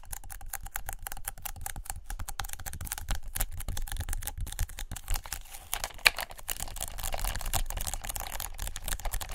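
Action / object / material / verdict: tap / adhesive paper lint roller on a plastic handle / paper / none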